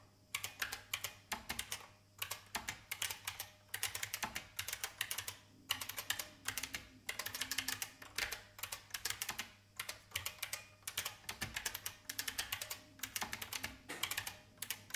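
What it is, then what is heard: Plastic mechanical keyboard. Fingertips with long painted nails type on an old beige IBM full-size plastic mechanical keyboard with a hollow case. Bright, clacky key taps come in quick bursts separated by brief pauses, each tap dying away almost at once.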